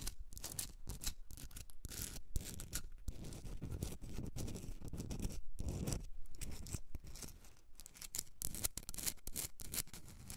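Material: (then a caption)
Rock salt. Long red nails scratch the rough surface of a hand-sized, solid pink Himalayan rock salt candle holder. The result is a steady, dense rasping with bright, gritty hiss and a low rumble underneath, broken by brief gaps between strokes.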